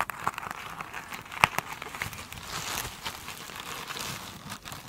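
Long pointed nails scratch a soft, solid rectangular foam sponge with a glittery woven cover as it lies on the table, tipped upright at the end. The sound is a steady, bright, crinkly scratching with little low end, broken by a few sharper ticks and clicks.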